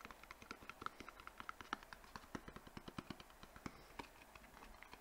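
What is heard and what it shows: A small white rectangular cardboard box, hollow, is held in both hands and tapped quickly with fingertips and nails on its faces and edges. A rapid, irregular stream of short, dry taps with bright clicky edges and a hollow tone near 1.3 kHz dies away almost instantly over a quiet low hum.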